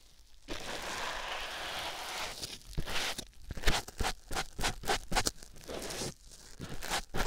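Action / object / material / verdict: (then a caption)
scrape / foam sponge on a silicone ear microphone / foam / none. A white foam sponge block, held by hand, is squeezed and rubbed on a silicone ear microphone. A steady, bright rustling rub gives way to a quick run of separate crunchy, crackling squeezes, then a softer rub and a final crunch.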